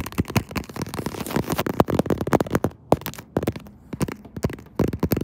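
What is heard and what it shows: Long acrylic nails on both hands quickly tap and scratch across the textured back of a smartphone in a pink faux-leather croc-textured case held in a tripod mount. Rapid, dense, crisp clicks mix with a dry scratchy rustle, each tap dying away almost instantly, with a couple of brief quieter pauses between bursts.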